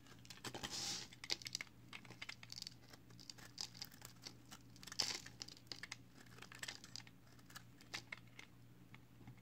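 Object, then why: Bar of soap shaved with a blade. A box cutter blade shaves the edge of a solid green recycled soap bar strip held in the fingers, sending flakes falling. Quiet, bright, crisp scraping and crackling comes in many short bursts over a faint steady low hum.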